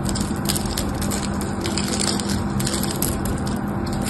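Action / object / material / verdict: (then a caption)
scrape / solid bar soap / soap / none. A small metal knife carves a solid mauve bar of soap that has been cut in a crosshatch, crumbling it and releasing small cubes of soap. Dense, crunchy crackling and scraping run steadily throughout, with bright crisp snaps over a low, even body.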